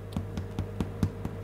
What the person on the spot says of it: tap the bottom sounds like a drum that's ready to go